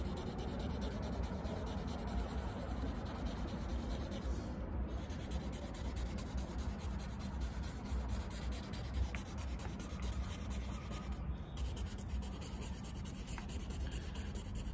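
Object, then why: Paper sheet rubbed with charcoal stick. A hand-held charcoal stick rubs and strokes across a large, thin, flat white drawing paper sheet mounted upright on a board while shading a drawing of a hand. The result is a steady, continuous scratchy rubbing with soft papery hiss over a dominant low rumble, and a few brief bright scrapes.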